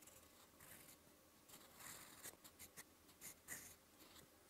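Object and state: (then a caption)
Pen writing on a paper notebook page. A fountain pen with a metal nib and blue ink scratches slow strokes onto a lined white page of a paper notebook. Soft, bright scratching and rustling rise and fall in short bursts over a faint, quiet background.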